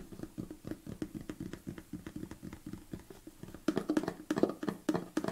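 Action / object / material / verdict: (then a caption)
tap / plastic supplement tub / plastic / none. Fingernails tap the body of a large red plastic BCAA supplement tub, held tilted and then upright, in a quick, uneven run of light, dry, hollow ticks with no ring. About two-thirds of the way through, the taps grow louder and fuller, with a clearer hollow tone.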